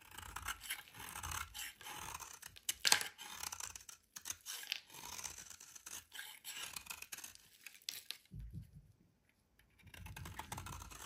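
A solid white oval bar of soap, held in the hand, is scraped and shaved with a metal utility knife blade while crumbly flakes fall away. Repeated dry, bright, crisp scraping strokes sound in quick bursts, with one sharper scrape near three seconds. A brief near-silent pause follows before the shaving resumes.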